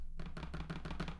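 An unfolded Samsung Galaxy Z Fold 3 lying on a table is tapped and rocks on its camera bump, making a quick series of short, dull, low clacks against the tabletop. The rocking is a fault caused by the camera bump, though it is less pronounced than when the phone is closed.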